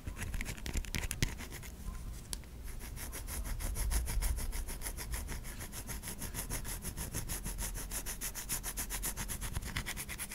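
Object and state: Bar of soap being scratched.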